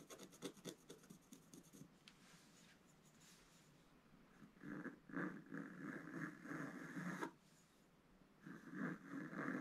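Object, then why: Coated scratch-art paper scratched with a wooden stylus. A wooden scratch stylus scratches lines into the black coating of a flat, coated scratch-art paper page held flat by one hand. A quick run of short, dry scratches opens the clip, then a soft, steady rasp follows. Longer, louder scraping strokes come in bursts with a gritty midrange and a brighter edge near 2 kHz.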